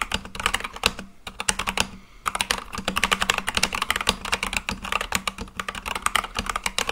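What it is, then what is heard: Mechanical keyboard with plastic keycaps. An Akko full-size mechanical keyboard with white and light-blue plastic keycaps on a black case is typed on quickly with fingertips. It produces a steady stream of sharp, bright plastic clacks that die away almost instantly, centered near 2.7 kHz with little low end. The typing continues throughout, with two brief pauses near the one- and two-second marks.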